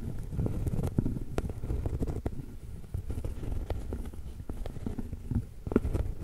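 Long pointed acrylic nail tips tap and scratch the surface of a large, thin, flat, solid round cork trivet tilted toward the camera. The result is a steady run of soft, dull, quick taps over a low, muffled scratching rustle, with occasional sharper clicks that die away almost instantly and no bright ring.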